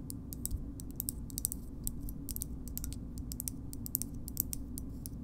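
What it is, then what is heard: Plastic bottle opener. A green plastic bottle opener with a metal insert is tapped with long nails on its handle and opening. The nails make a quick run of light, bright, dry clicks with almost no ring, over a quiet, steady low rumble.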